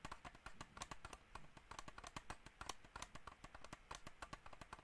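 Fingernails rapidly tap the top shell of a small, hollow black plastic computer mouse held near the mic. Each tap is a quick, dry click with a hollow tone around 1 kHz and bright edges, dying away almost instantly. The taps come in an uneven, continuous patter at a quiet level.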